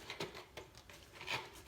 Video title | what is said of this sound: Coach Carl’s Tubeless Tire Tips! | hear the fluid sloshing in there